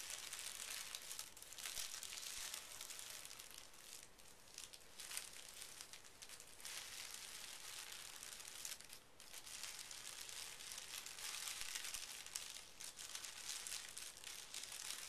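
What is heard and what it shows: A folded pink tissue paper sheet resting on carpet is smoothed and rubbed by hands with fingertips and short nails. It makes a quiet, continuous, bright crinkling rustle with soft swishes. The sound eases briefly a few times before picking back up.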